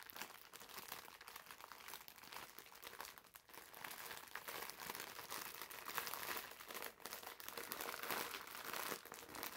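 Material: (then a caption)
Plastic film. A green foam bath sponge in a crinkly clear plastic wrapper is squeezed and rubbed with the fingers. The result is a steady, bright crinkling and crackling of the plastic, with almost no low end, rising and falling in loudness throughout.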